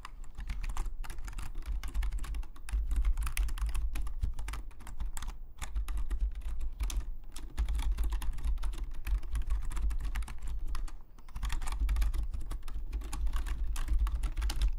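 Fingertips of both hands type rapidly on a full-size black Logitech membrane keyboard with plastic keycaps, lying flat on a desk. The result is a dense, steady stream of soft, dull key clicks and low thumps with very short decay. The typing pauses briefly near 5.5 s and 11 s before resuming at the same pace.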